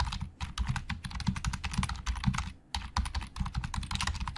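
Fingertips type and tap quickly on a black plastic Logitech keyboard with hollow plastic keys. The result is a dense stream of short, dry clicks with a low thump under each bright clack, broken by one brief pause before the typing resumes.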